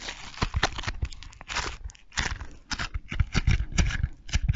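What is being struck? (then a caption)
Foam bead slime being squeezed and pulled. A small handful of soft, solid pink foam-bead slime (floam) is squeezed, kneaded and pulled apart with the fingers close to a microphone. It makes dense, crunchy popping and crackling in rapid bursts, with bright crackle over a heavy low-end thump.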